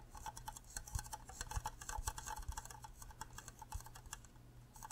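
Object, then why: Cube-shaped plastic mug. Fingernails tap rapidly and unevenly on the rim and sides of an empty, green, cube-shaped hollow plastic Minecraft creeper mug. The result is a quick stream of dry, bright clicks that sound almost like typing, with a few duller low knocks mixed in. Each tap stops short with no ring.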